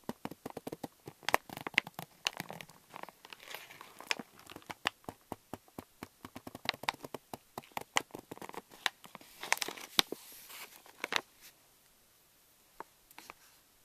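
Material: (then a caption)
Plastic foil. Fingertips squeeze and crinkle a hand-held pink Reese's Miniatures stand-up pouch of thin plastic foil laminate, likely full of wrapped candies, up close. A dense run of sharp, bright crinkles and crackles continues for about eleven seconds, then thins to a few isolated crackles before fading.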